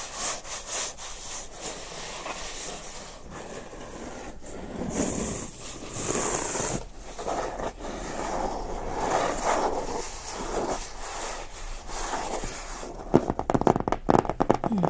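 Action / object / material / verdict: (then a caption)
scrape / closed cardboard box / cardboard / none. A closed, hollow Nomadik cardboard box is tapped and scratched with fingertips and nails on its top and front. The result is a steady, irregular rasping scrape with soft hollow thuds. A denser run of sharper taps comes at the end.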